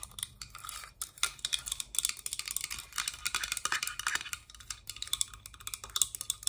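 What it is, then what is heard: Hard plastic toy playset piece. A small, hollow, pink hard-plastic Littlest Pet Shop playset piece, shaped like a folded box or roof, is held in the hands and tapped and scratched with long dark acrylic nails. A quiet, continuous flurry of rapid, bright clicks and scratchy rasps follows, each tap dying away instantly.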